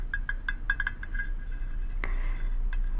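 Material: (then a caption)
Glass. A small decorative glass shoe is tapped in a quick, uneven series, giving bright, short clinks pitched around 1.6 kHz. One sharper, louder tap lands near the two-second mark, and each note dies away almost at once over a steady low hum.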